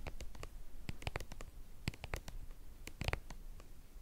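Long painted nails scratch and tap the flat face of a white, hollow, hand-sized soft plastic cream tube. Quick, dry clicks and brief scratchy strokes come in irregular bursts over a faint low rumble, each one dying away almost instantly. The overall level stays quiet.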